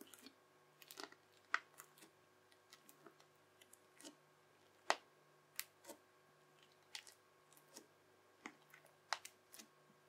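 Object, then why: Crunchy slime pressed with a plastic knife. A yellow plastic knife edge, held with a fingertip, presses lines into a teal, bubbly, crunchy slime strip, chopping along its length. About seventeen short, bright crunchy clicks and pops come at an uneven pace, each ending almost instantly, over a faint steady hum.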